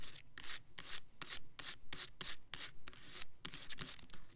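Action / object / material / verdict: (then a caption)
scrape / plastic foaming soap bottle / plastic / none. A clear plastic Black Cherry Merlot foaming hand soap bottle, filled with pink liquid and topped with a black pump, is rubbed, tapped and scratched along its sides with long nails. Bright, hissy scratching strokes repeat in quick, uneven bursts with short gaps between them, over a faint low rumble.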